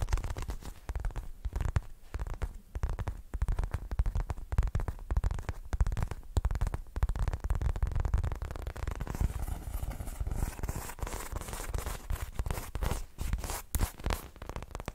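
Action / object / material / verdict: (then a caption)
scrape / soft polyurethane foam squishy toy / polyurethane foam / none. A hand-sized, solid, soft polyurethane foam squishy shaped like a watermelon slice is held in both hands, squeezed, tapped and scratched with long red nails. It makes a dense run of quick, muffled low thumps and squishes. From about the middle on, brighter, airy scratching rises over the soft tapping.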